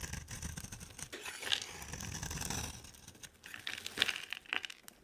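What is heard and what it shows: A utility knife blade shaves and scrapes a hand-sized solid green bar of soap with a yellow outer layer, held in one hand. Dry, crumbly scraping and crinkly shaving sounds run throughout, bright and hissy, with a few sharper crisp snaps as the blade cuts through.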